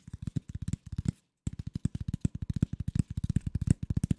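A flat, rectangular corrugated cardboard sheet, thin, hollow-fluted and empty, is held in both hands in front of the microphone and scratched and tapped with fingertips and nails. A fast, steady run of short, dry, low, hollow taps is heard, with a brief silent pause about a third of the way in before the tapping resumes.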